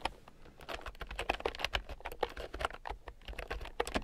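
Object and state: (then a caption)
Plastic keyboard with round keycaps. A red plastic keyboard with round, typewriter-style plastic keycaps, lying on a fur rug, is typed on with fingertips and long nails. Quick, steady runs of short, dry clicks and taps carry a mid-pitched plastic clack with a bright edge, and each keystroke dies away almost instantly.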